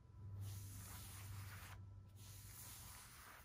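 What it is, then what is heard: Cotton T-shirt with screen print. Fingertips and nails scratch and trace across the front of a blue cotton T-shirt being worn, rubbing over both the fabric and its screen-printed graphic and text. The result is a soft, steady, breathy scratching hiss with a brief lull partway through, over a faint low hum.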